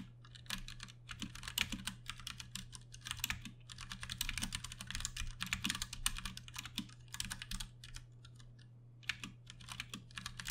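Both hands type fast with their fingertips on a Ducky One 2 Mini, a compact 60% RGB-backlit mechanical keyboard with plastic keycaps and Cherry MX Brown switches, resting on a desk. The result is a dense run of short, bright clacks in bursts, with a brief lull near the end, over a steady low hum.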